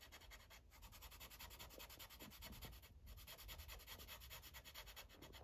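The felt tip of a yellow Sharpie marker rubs across a thin paper coloring page resting on a clipboard in steady, rapid back-and-forth strokes. The result is a soft, even scratchy rasp with a bright papery hiss and a low underlying rumble, pausing briefly near the middle before continuing.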